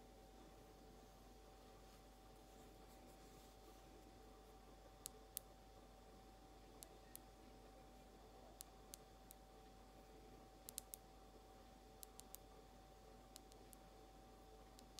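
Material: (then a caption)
Glass. Long almond nails tap and scratch a small frosted glass nail polish bottle with a white cap, held upright. There are about 18 short, sharp, bright clicks spaced slowly over a quiet background with a steady low hum. Each click dies away almost instantly.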